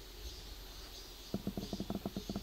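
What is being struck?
Nothing is struck.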